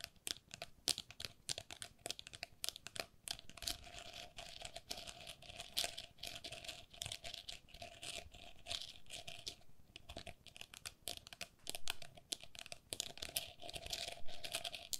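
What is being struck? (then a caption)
Openwork plastic pen holder. Long nails tap and scratch quickly over a small, hollow, empty plastic lattice pen holder: an openwork cup with a scalloped rim, held in both hands. The result is a steady, quiet stream of dry, bright clicks and scratchy crinkles that stop short with no ring.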